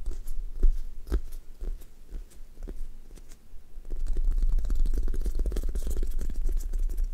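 Long nails tap, press and scratch the sticky surface of a thick toast squishy toy made of solid, soft foam, with a brown sticky foam top over a white base, leaving dents. Scattered soft taps and sticky clicks over a low thudding rumble give way after about four seconds to denser, continuous crackling and peeling scratches.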